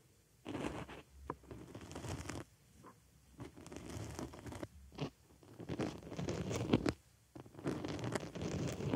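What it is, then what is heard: Foam sponge, scratched. A wooden stick pokes and scratches inside the hole of a white foam makeup sponge resting on a microphone ear. Bursts of rapid, crunchy scratching and rustling alternate with brief quiet pauses, dense and mostly low-pitched with a soft, close texture.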